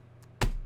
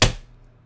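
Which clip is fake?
The second.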